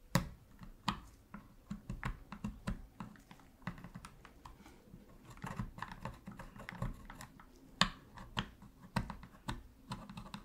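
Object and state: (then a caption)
Plastic game controller, hollow shell. A metal pick, held in gloved hands, scrapes and taps in the gaps beside the center buttons of a black, hollow plastic PS3 controller while cleaning it. Irregular dry clicks and brief scratches with a hollow low body and bright edges come in uneven bursts, each dying away almost at once.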